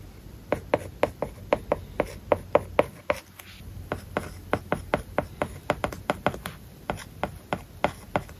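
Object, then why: Plastic stylus on a glass tablet screen covered with matte plastic film. A plastic stylus writes Japanese characters on the glass screen of a large iPad covered with a matte plastic paper-like film. It makes a steady series of quick, dry taps and short scratches with a faint mid-pitched click. The strokes come in an uneven rhythm over low background hum.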